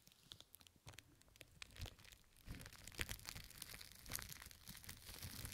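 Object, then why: Plastic cling film. Fingertips and long nails of both hands scratch and crinkle loose pink plastic cling film covering both ears of a microphone. The result is a dense run of sharp, bright crackles and tearing-like rustles over a low, muffled rumble, growing busier and louder toward the end.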